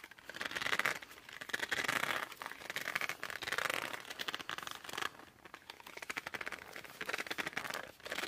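Fingertips and thumbs grip and rub along the laminated cover of a cardboard board book, making dense, bright squeaks and crinkly friction. The sound comes in repeated swelling bursts of squeaking, with brief quieter gaps between strokes and almost no low end.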